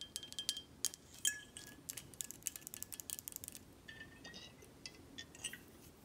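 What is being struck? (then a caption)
Glass bottle. Long acrylic nails tap the front glass and cap of a full, dark glass Buchanan's 18 whisky bottle held in hand. The result is a rapid series of quiet, bright clicks and clinks with a brief high glassy ring around 3 kHz that fades almost at once.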